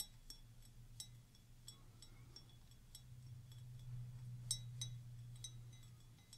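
Long nails tap and scratch the bowl of a clear stemmed wine glass, partly filled with water and held up near the face. Quiet, bright glassy clinks come at an uneven pace, each dying away almost at once. A faint low hum runs steadily underneath.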